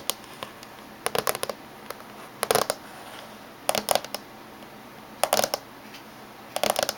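Fingernails of both hands tap on the top surface of a closed silver laptop with a hollow body. The sharp, hollow clicks come in quick flurries spread across the clip, with very short decay and a bright edge, separated by gaps of soft steady background noise.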